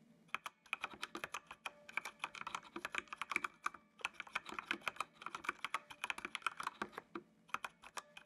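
Fingertips type on the keys of a full-size black plastic mechanical computer keyboard with RGB backlight. The result is a fast, uneven stream of short, sharp clacks with a bright, clicky tone. The burst pauses briefly around the four-second mark before the typing resumes.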